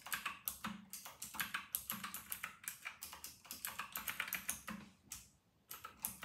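Both hands' fingertips type on a white and grey RK960 mechanical keyboard with round plastic typewriter-style keycaps, resting on a white desk. About thirty quick, bright plastic clacks follow one another with almost no ring after each stroke. A brief pause near the end comes before the typing resumes.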